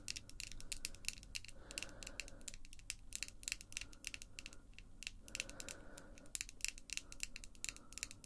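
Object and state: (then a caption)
Acrylic false nails tapped together. Close up, long acrylic false nails tap and scratch against the nail tips of the other hand. Rapid, sharp, bright clicks with almost no ring are layered over a steady low hum, with a tonal peak near 2.7 kHz. Softer scratchy passages surface around two and five and a half seconds.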